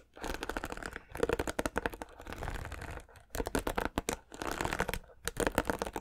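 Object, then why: Plastic paddle hairbrush. Fingertips and nails strum the bristles of a white plastic paddle hairbrush. Quick runs of dense, scratchy plucking clicks come in several bursts separated by brief pauses, with a crackly midrange texture and little low end.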